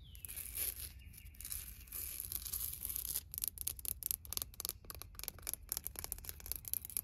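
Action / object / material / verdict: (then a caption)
scrape / painted concrete garden stepping stone / concrete / none. Long nails and fingertips scratch and tap the surface of a solid, round, painted concrete garden stepping stone with a tree design, about 30 cm across, lying on mulch. For the first three seconds there is continuous bright scraping and rubbing, followed by a rapid series of short, sharp, dry taps and clicks with no ring.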